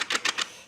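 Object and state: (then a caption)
Wooden sudoku board shaken upside down, tiles stay in their slots. A wooden sudoku board loaded with wooden tiles is turned upside down and shaken, and the tiles clatter in their inset slots in three quick, bright rattling bursts. The tiles stay in place and do not fall out.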